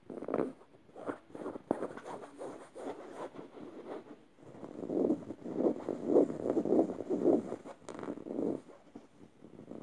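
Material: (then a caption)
Plush fabric. Fingernails scratch across the face and tongue area of a yellow stuffed emoji cushion made of soft plush fabric. Dry, rasping strokes come in uneven bursts, fainter and gentler at first, then growing louder and harsher in the middle before easing off again.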